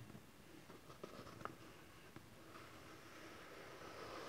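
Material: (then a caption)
Cardboard. Fingertips and nails tap the top face of a small hollow cardboard camcorder box resting on satin fabric, giving three quiet, dry, hollow taps with a faint midrange knock and no ring. Then hands hold the sides of the box, and only a soft, steady rustling hiss remains.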